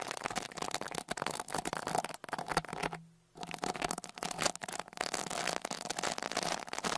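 A small dark rat-tail brush with a wooden handle is brushed over the metal mesh grille of the left X-Y microphone capsule on a Tascam Portacapture X8 handheld recorder. It makes dense, close, scratchy crackling across a broad bright range. The brushing stops briefly near the middle, then resumes just as busily.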